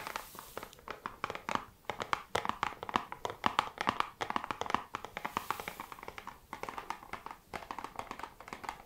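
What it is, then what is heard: Cardboard box tapped with fingernails. A small, flat, hollow printed cardboard box, The 7 Virtues Peace Perfume Discovery Set, is held in both hands and tapped with long red acrylic nails. Quick, dry, clicky taps come in rapid bursts with almost no ring, centered in the midrange with a faint papery rustle between them.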